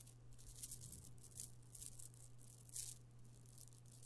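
A strand of small purple amethyst stone chips from a chip bead necklace is lowered and piled into an open palm, then fingered. The chips give off quiet, bright clinks and rattles against each other, with a few louder bursts. A steady low hum runs underneath throughout.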